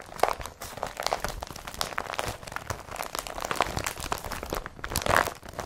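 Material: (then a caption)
Polypropylene. Hands grab and crumple an empty blue IKEA BRATTBY carrier bag made of woven polypropylene plastic. The result is a steady, dense run of crisp crinkling and crunching with bright, airy rustle, with brief squeaky tones near 700 Hz popping out now and then.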